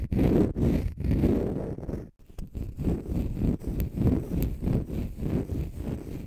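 Fingernails scratch a palm-sized, pale green konjac fiber facial sponge, solid and porous, making dense, muffled rasping strokes that are heavy in low tones. The scratching comes in rough, uneven bursts with a brief near-silent pause about two seconds in before resuming.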